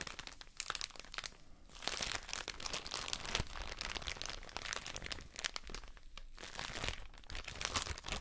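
A soft plastic drawstring bag full of cotton wool pads is squeezed and crinkled with fingers and long nails. The result is a steady stream of bright, dense crinkling and crunching with short crackles and almost no ring after each one.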